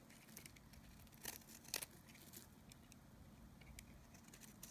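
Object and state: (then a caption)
Dry bar of soap. A solid, dry oval bar of Nevskaya Kosmetika soap is held in the hand and scraped with a snap-off knife blade, shaving off curls. Quiet, dry, crackly scraping and bright, crisp ticks continue throughout, with two louder, sharper scrapes near the middle.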